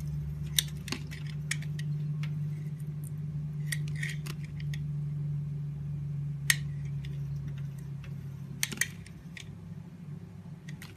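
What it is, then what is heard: Bar soap being carved. A hand-sized solid blue bar of soap with a white interior and flower decorations is held by the fingertips and shaved with a utility-knife blade, peeling off thin curls. Short, crisp, bright scraping clicks come at irregular intervals over a steady low hum, which fades slightly near the end.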